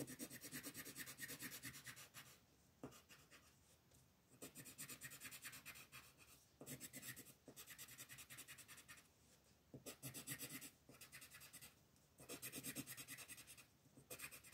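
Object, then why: Colored pencil on a paper sheet. A green colored pencil is rubbed back and forth across a flat paper coloring page to shade the background, with the other hand resting on the paper. Bursts of rapid, bright, scratchy strokes alternate with brief quieter pauses.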